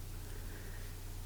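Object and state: Nothing is struck.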